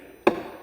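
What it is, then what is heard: Solid wooden speaker cabinet side. A single tap on the side panel of a wooden Cerwin Vega speaker cabinet, made while checking for hollow spots behind a cabinet rattle, gives a short knock centered around 344 Hz that fades within about half a second. The side sounds solid, not hollow.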